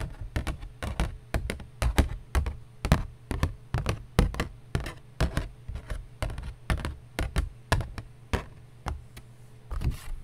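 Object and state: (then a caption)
Cardboard being tapped. A piece of cardboard is tapped repeatedly with a steady, uneven series of short, dull thumps. Each tap is low and muffled with almost no ring, and a faint low hum sits underneath.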